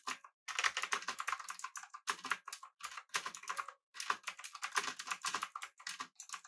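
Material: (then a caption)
Plastic, aluminum. Both hands' fingertips type rapidly on a full-size backlit typewriter-style mechanical keyboard with blue switches, an aluminum body and round plastic keycaps. Fast bursts of sharp, bright clicks come in several runs separated by brief pauses, each click dying out almost instantly.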